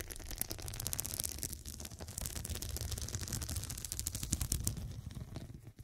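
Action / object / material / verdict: scrape / fabric pillow with glass studs / glass / none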